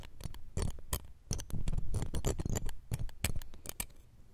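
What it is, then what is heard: Metal microphone mesh grille. Metal tweezers scratch and tap the round steel wire-mesh grille of the left pencil condenser microphone. The result is a rapid, irregular run of dry, close scratches and clicks, each with a heavy low thump and almost no ring, over about four seconds.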